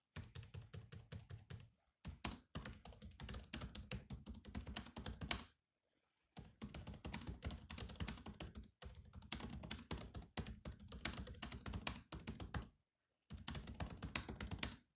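Fingertips of both hands type on the black plastic keys of a grey laptop keyboard. Quick, clicky keystrokes with a low thunk come in steady bursts, separated by short pauses. Each key tap is short and dry, with almost no ring.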